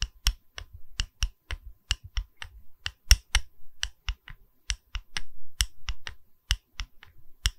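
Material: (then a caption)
Wood. A small, solid, round wood-slice coaster with a bark rim is held in the hand while long red nails tap its cut face and bark edge, possibly with added clicks from rings on the fingers. About 23 quick, dry taps ring out in an irregular rhythm, each a sharp, bright click over a soft low knock that dies away almost at once.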